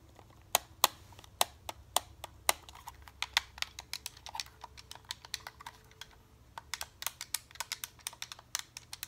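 Fingertips tap and click the buttons and sticks of a white and grey Xbox-style plastic game controller, a hollow handheld shell held up close. About three dozen sharp, dry, bright clicks come in an irregular, typing-like rhythm, each dying away almost instantly, with a brief lull near the middle. A faint low hum sits underneath.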